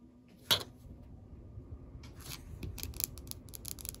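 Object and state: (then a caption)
Rubber-coated weight plate. Long acrylic nails tap and scratch the surface of a large, solid, heavy black rubber-coated bumper weight plate with orange lettering lying flat, with a blue dumbbell resting nearby untouched. One sharp, bright click stands out early, followed by quieter rubbing and then a quick run of dry, crisp taps and scratches. Each hit dies away almost instantly, with no ring.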